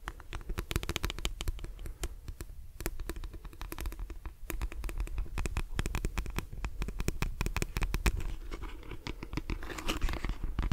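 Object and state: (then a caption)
Plastic detangling hairbrush. Fingernails scratch the glossy plastic back of a lilac plastic detangling brush and run across its plastic bristles. The result is a dense stream of rapid, crisp clicks and scratchy ticks that flick through the bristles, set over a low, soft rumble. A brighter rasp swells near the end.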